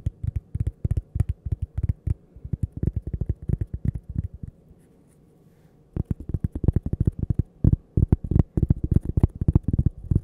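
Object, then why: Cork coaster. A thin, solid cork coaster held close to the mic is tapped and scratched with long painted nails. The result is a rapid, irregular run of dull, low, thumping taps with no ring, with faint scratchy texture between them. The taps stop for about a second and a half near the middle, then resume just as busily.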